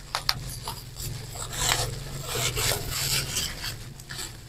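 A crumpled mass of clear plastic bubble wrap is squeezed and rubbed with the thumbs, popping its bubbles. Two sharp, quick pops come early, followed by bright, crinkly rubbing and rustling swells of the plastic over a steady low hum.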